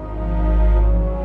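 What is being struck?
Nothing is struck.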